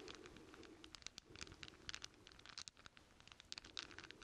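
A hand-sized bundle of solid steel chain links, cupped in both hands, is rubbed, jingled and shaken together with the fingertips. The result is a quiet, bright stream of rustling metallic clinks and sharp little taps that stop almost instantly, over a faint low murmur.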